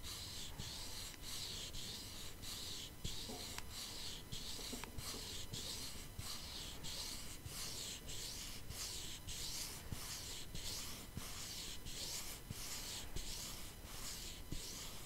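Long nails scratch and tap the surface of a flat, hollow cardboard palette box covered in holographic foil. A steady, quiet, bright rasping scratch pulses in regular strokes, with occasional soft taps over a low rumble.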